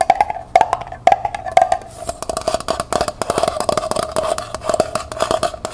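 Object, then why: Small metal pail. Long nails tap the bottom and side wall of a small, hollow, empty copper-colored metal pail held on its side. A few spaced clinks give way to a fast, dense run of taps, each with a short, bright metallic ping centered near 760 Hz.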